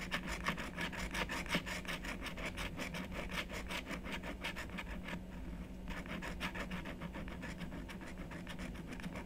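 A wooden stylus repeatedly scrapes the black coating of a scratch-art card lying flat on a wooden table, working a small area while the other hand holds the card still. Quick, bright scratching strokes come in a steady rhythm of about three per second, with a low hum underneath. Around the middle the strokes briefly soften before picking up again.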